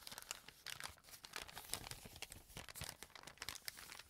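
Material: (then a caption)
Paper. A brown kraft paper bag with a dark stripe is laid flat and rubbed and pressed with fingertips. It gives a steady run of bright, dry crinkling and rustling with many quick crackles that die away almost at once.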